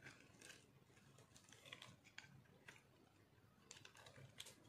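A metal knife blade cuts and scrapes shavings off a solid white chunk of dry soap held in one hand. Quiet, dry, crunchy scratching and scraping bursts come in quick succession, each short and crisp with bright high crackle over a faint low rumble.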